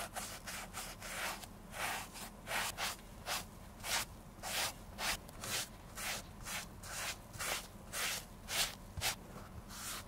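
A grey sponge rubs cream over the toe and upper of a black leather oxford shoe, hollow and empty, held in bare hands. About 15 soft, bright, breathy swishes come roughly twice a second at an uneven pace, each fading quickly, over a faint low hum.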